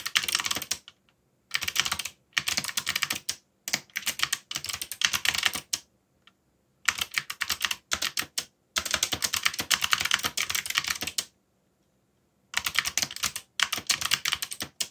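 Fingertips type fast on a backlit mechanical keyboard with dark plastic keycaps. Rapid, bright, clicky keystrokes come in bursts of a second or more, separated by short silent pauses. Each click is crisp and dies away almost at once.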